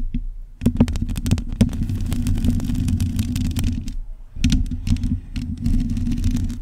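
Long acrylic nails on both hands scratch the bare, hollow metal mesh grille of a black USB condenser microphone, with no cover on it. Dense, fast scratching produces a heavy low rumble and buzz around 240 Hz, with sharp bright ticks. It pauses briefly near four seconds before resuming.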